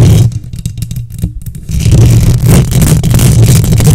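Long nails scratch rapidly across the hollow metal mesh grille of a silver condenser microphone, making a dense, booming scrape that is almost all low-end rumble with a faint hiss on top. It starts softer and choppy for the first couple of seconds, then swells into a loud, steady scratching roar that holds to the end.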